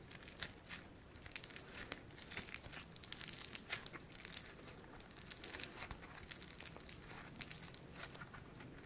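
A palm-sized, flattened, solid sheet of pink foam-bead clay (floam) is stretched and pressed by fingertips. It gives a quiet, continuous run of dense, bright crackling and crinkling pops with very little low end. Each tiny snap is sharp and dies away almost instantly.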